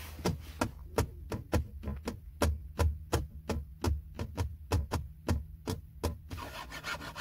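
Fingertips and short nails tap and scratch a flat, hollow, textured silver plastic trim panel on a car's center console beside the gear selector. A quick, uneven series of about twenty short, dry clicks rides over a steady low hum, and the clip ends in a soft, brighter scratching rustle.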